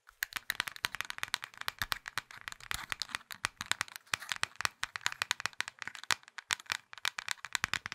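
A small, hollow plastic Nokia mobile phone is held in both fists while fingers squeeze and rattle the casing with rapid taps. The result is a continuous stream of dry, bright plastic clicks and rattles centered around 1.5 kHz, with very little low end and no ring after each tap.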